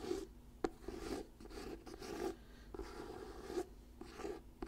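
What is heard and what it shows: Fingertips and nails scratch the glossy paper cover of an orange "Diary of a Wimpy Kid" paperback book held solidly in both hands. The result is quiet, dry, papery scratching in repeated rasping strokes, broken by a few sharp clicks of the nails on the cover.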